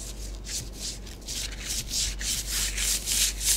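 Long acrylic nails trace and rake lines through a thin layer of orange bath bomb powder spread on a flat grey tray. The result is a steady run of bright, gritty scratching strokes, each swelling and fading in quick, fairly regular rhythm over a faint low hum.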